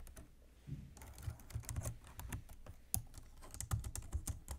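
Both hands type steadily on a black plastic computer keyboard resting on a desk, using fingertips and nails. Quick, dry key clicks with bright ticks ride over soft low thuds from the keystrokes, each dying away almost instantly.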